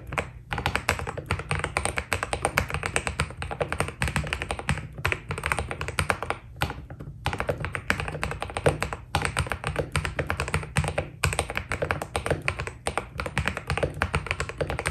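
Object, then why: Mechanical keyboard with plastic keycaps. Fingertips of both hands type continuously on a white Keydous NJ80 mechanical keyboard with PBT plastic keycaps, a steel plate and a foam-dampened case. A fast, steady stream of short, crisp key taps rides over a deep, muted low-end thock, with brief pauses between bursts of typing.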